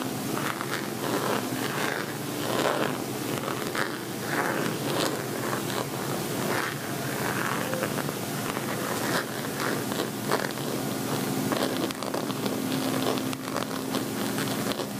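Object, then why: Metallic faux leather cosmetic pouch. An empty, hollow gold metallic faux leather cosmetic bag, held by its top edge, is scratched and rubbed with fingernails. The result is a steady, crinkly scratching and rustling with bright, papery texture and short repeated strokes over about fifteen seconds.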